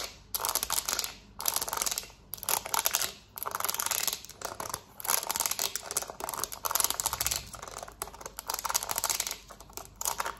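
Long nails tap quickly on the rubber buttons of a black plastic TV remote held in the hand. The result is dense, bright, clicky tapping in rapid bursts separated by brief pauses, with almost no low end and no ringing after each tap.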